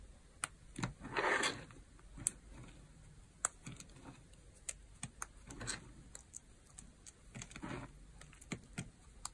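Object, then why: Pile of dry soap chips. Fingers and nails dig into, squeeze and rub a pile of dry crumbled soap flakes and chips on a white surface. Sharp, crisp clicks and crackles are heard, with a few longer scratchy crumbling bursts. The sound is quiet and bright, with brief ticks that die away almost instantly.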